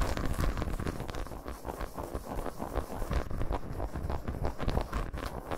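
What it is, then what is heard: Milk chocolate bar, scratched and tapped. Long pointed nails scratch and tap the segments of a solid milk chocolate bar lying face-up on a towel with its squares showing. The result is a quick, steady run of dull, muffled taps mixed with soft scratching, mostly low in tone, with each hit stopping short with no ring.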